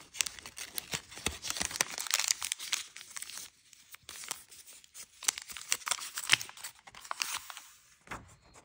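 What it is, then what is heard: Origami paper being folded. Thin red-yellow patterned origami paper is held in the hands and folded into a crane, with fingertips pinching and rubbing the creases. Bright, crisp crinkling and papery rustles come in quick bursts, with sharp crackling snaps and short pauses between flurries of folding.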